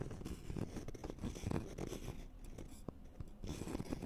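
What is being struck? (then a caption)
Thin flat wooden board with a scalloped edge. A thin, flat, solid wooden notched trowel board with a scalloped edge is scratched with the fingernails of both hands. It makes a steady, dry, low-heavy scratching with quick ticks and scrapes, easing off briefly in the middle before picking up again.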